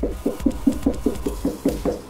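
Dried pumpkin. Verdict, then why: Hollow. A gift pumpkin that has been drying for a couple of months, though not yet fully dry, is knocked nine times at an even pace. Each knock gives a short, hollow, low-pitched thud around 270 Hz that dies away almost at once. It sounds good, meaning the pumpkin is dry and hollow enough to carve.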